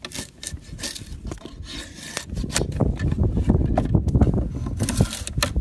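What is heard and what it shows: A steel drawknife blade is pulled across a small, solid block of weathered wood clamped on a wooden post outdoors, shaving and scraping it. Rough, rasping strokes repeat at an uneven pace, heavy in low thuddy tones with bright, hissy scraping edges. The strokes grow louder and denser in the second half.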